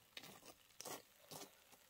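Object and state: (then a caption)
Crisp baked crust. Four light, crisp taps on the crunchy baked crust of a pepper stuffed with Neapolitan potato gateau, baked at 180 degrees until the crust formed. Each tap is a short, dry, bright crackle with little low end that fades quickly.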